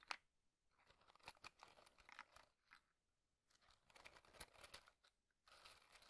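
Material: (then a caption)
Cardboard. Fingertips tap a small printed cardboard matchbox, partly slid open with matches visible inside, and slide and push its tray. Bursts of bright, dry scratching and crinkly sliding are broken by sharp little taps, separated by brief quiet pauses.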